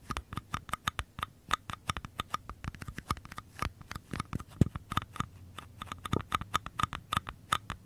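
Fingertips and short nails tap and scratch the bottom and walls of two identical small, empty, hollow paper cups held sideways. A quick, irregular stream of many dry, papery taps has a faint hollow tone near 1.2 kHz and a soft low thump, with light scratchy rustle in between. Each tap dies away almost instantly.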